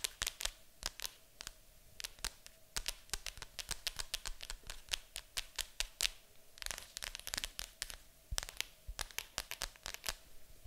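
Long acrylic nails tap and scratch on the lid of a large, hollow, printed cardboard board game box. Dozens of quick, dry, bright clicks land in uneven bursts over a soft, scratchy rustle. Each tap stops almost instantly with no ring.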